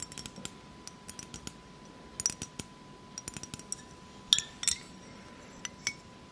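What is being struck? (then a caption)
Glass hourglass-shaped vessel partly filled with liquid. Long fake nails tap and scratch an hourglass-shaped glass vessel partly filled with blue liquid. The result is a quick, irregular run of sharp, bright clicks and light scrapes that die away almost instantly, with a faint steady tone underneath.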